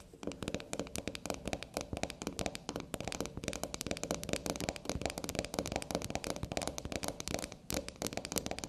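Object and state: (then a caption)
Soap bar tapped and scratched with nails. A small solid black soap bar stands on a table while long glossy black nails tap and scratch its top and sides. Rapid, dense, crisp clicks and scrapes run continuously with bright, short-lived ticks and no ringing.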